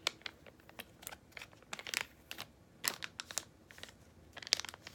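A small yellow Freeman laminated foil-plastic face mask sachet, likely filled, is crinkled and squeezed with fingertips and long nails. A quick series of quiet, sharp, bright crinkles and crackles sounds with almost no low end, each burst stopping dead with no ring.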